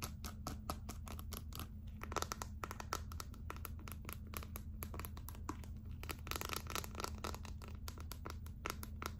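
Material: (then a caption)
Plastic. Long acrylic nails scratch and tap rapidly on the glittery back of a gold glitter clear plastic phone case held in one hand. The result is a dense stream of quick, dry, bright clicks with short scratchy crinkles between them, over a steady low hum.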